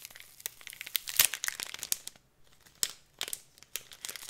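A clear plastic packet of glitter is held in the hands while fingertips and nails crinkle and scratch its film. Bright, dry crinkles and scratchy ticks come in quick bursts with almost no low end, pausing briefly near the middle before resuming.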